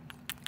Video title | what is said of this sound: 699 Ribu - Apple Watch Series 6 Super Copy yang lagi rame di Tiktok.. | Kalau yang ini nah bunyi etekekekek gitu ya kayak mau lepas